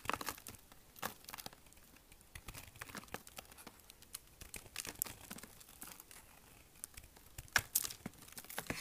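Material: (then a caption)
Soap. A solid, dry, hard green bar of soap held in one hand is shaved and carved with a small steel kitchen knife. Crisp, bright scraping and chipping sounds come in quick, dense bursts, with flakes falling onto the table.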